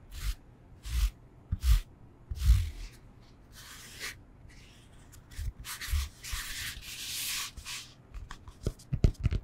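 Fingernails scratch and rub across the textured face of a solid rectangular foam yoga block, making irregular bursts of bright, dry scraping hiss. Each stroke carries a soft, low thump from contact with the foam, and the strokes come in uneven clusters with a longer rubbing stretch near the end.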